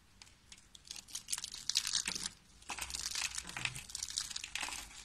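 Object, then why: Soap curls. A bare hand squeezes and crushes cream-coloured rolled curls of dry soap into flat flakes on a white table, beside a rolled soap rosette. Dense, bright, dry crackling and crunching comes in two bursts with a brief quieter pause between them. The crisp snaps are short, with almost no low end.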